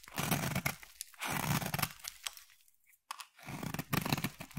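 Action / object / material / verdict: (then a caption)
scrape / bar of soap cut with a knife blade / soap / none. A solid black bar of soap, held in the hand, is carved with a utility knife blade into thin flakes. Each stroke gives a dry, crunchy scraping and tearing sound with a low body and bright crackle. The strokes come in bursts separated by short pauses, with a near-silent gap just before the final strokes.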